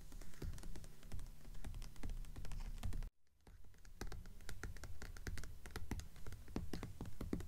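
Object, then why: Hardcover book with paper dust jacket. Long acrylic nails on both hands rapidly tap the cover of a blue hardcover book with a paper dust jacket lying flat on a table, like typing. The result is a dense, irregular stream of quick clicky taps with a low papery thud under bright nail ticks. The tapping stops briefly just after three seconds, then resumes.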